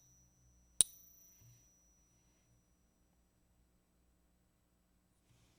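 A 1964 silver quarter is tapped once with a wooden stick, giving a single sharp, high, bright ping with a thin high tone that lingers faintly for a couple of seconds over quiet background hum. The ring is checked with a harmonics app, and along with scale and microscope checks, the coin is judged to be genuine silver.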